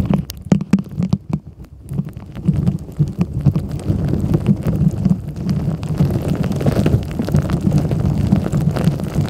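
A long nail taps the green lid of a clear plastic tumbler holding blue beads and gems, making dull, low clicks and knocks. The taps are sparse at first, then speed up into a dense, rumbling patter of short hits with almost no ring.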